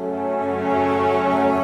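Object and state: Nothing is struck.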